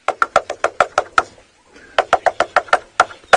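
Someone taps on a very dead, hollow tree trunk to mimic a bearded woodpecker's drumming. Sixteen sharp, hollow wooden knocks come in two runs of eight, separated by a short pause. Each knock has a resonant, mid-pitched ring that dies away quickly.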